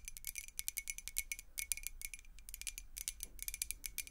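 Long acrylic nails tap rapidly on a clear glass beer mug partly filled with water, making a quick, uneven run of sharp, bright clicks that die away almost instantly. Each tick has a thin high ring, with a faint low hum underneath.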